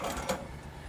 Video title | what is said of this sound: Metal build evangelion unit-1 test type | you don't hear that much of a rattle when you shake it